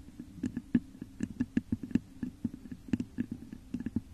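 Long nails scratch and tap the top of a hollow, textured clear glass vase turned upside down over a microphone. The result is a quick, irregular run of soft, short taps mixed with faint scratching, each tap carrying a hollow, low resonant tone.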